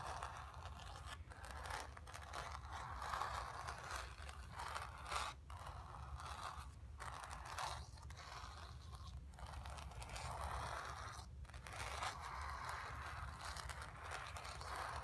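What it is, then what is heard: Painted canvas scratched with fingernails. Long nails scratch across the surface of a painted stretched canvas, making a steady, dry scraping rasp centered in the mid-range with a brighter hiss on top. Short gaps break up the strokes, and a low, constant rumble sits underneath throughout.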